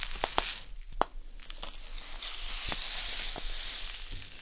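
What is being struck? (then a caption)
Plastic packet of poppy seeds. A small, full plastic bag of poppy seeds is held in the hands, squeezed, crinkled and tapped with long nails while the seeds shift inside. Sharp, bright tapping clicks stand out over a steady, hissy crinkle and rustle of plastic and moving seeds, which swells in the middle and fades slightly toward the end.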